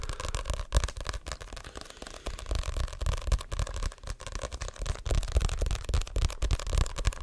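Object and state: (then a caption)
Paperback book with card cover. Fingertips and short nails tap and scratch the glossy card cover of a Diary of a Wimpy Kid paperback, a solid paper book held up close. The result is a dense, uneven run of soft, dull taps and dry crackly scratches, heavy in low thump.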